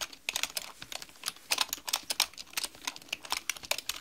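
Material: Plastic.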